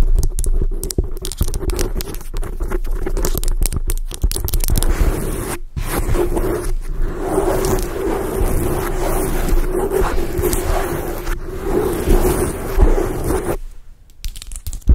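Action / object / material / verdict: scrape / foam microphone windscreen / foam / none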